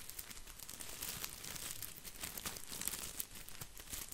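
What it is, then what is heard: Artificial plastic boxwood ball. An artificial plastic boxwood topiary ball is held in one hand while fingertips brush and scratch its leaves. The result is a steady, bright, crinkly rustle with many small, sharp scratchy ticks running throughout.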